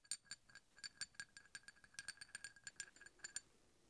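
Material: Steel.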